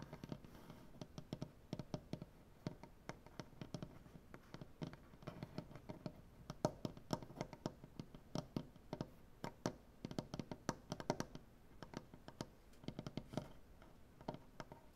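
Nail tips of both hands tap rapidly across a solid, light wood butcher-block tabletop, making a steady stream of short, clicky taps. Each tap dies away almost at once, with a dry, woody low-mid body and a bright click on top, over a quiet background.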